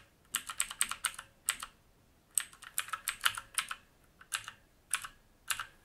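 Fingertips of both hands type on a full-size black mechanical keyboard with plastic keycaps and a silver-grey metal top plate, resting on a wooden desk. Quick, bright, clicky keystrokes come in irregular bursts separated by short pauses. Each press dies away almost instantly with almost no low-end thump.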